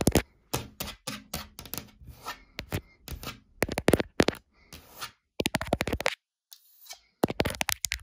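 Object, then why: Wood-grain laminated cabinet door. Long dark-painted nails tap and scratch the surface of a large, flat, solid wood-grain laminated cabinet door panel, with a gap between two doors. Quick, dry clicking taps come in bursts, mixed with bright scratchy rustles. Each sound dies away almost instantly, and there are brief silent pauses between the runs.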